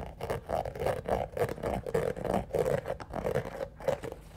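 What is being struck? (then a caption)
Shoe covered in small hard studs. A single black shoe covered in small hard studs or rhinestones is held up close and scratched along its studded surface with fingernails. Irregular bursts of gritty, clicking scrapes repeat about every half second, each carrying a mid-range rasp with little low end and quickly fading between strokes.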